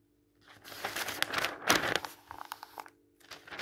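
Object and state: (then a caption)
Paper catalog pages. A hand lifts and turns the pages of a thin paper catalog with white text pages, then rubs and smooths them flat with the palm and fingertips. Soft, bright rustling and crinkling swell into a sharp, loud crackle of paper. It then settles into quieter, quick brushing strokes, goes briefly silent, and resumes with light rubbing.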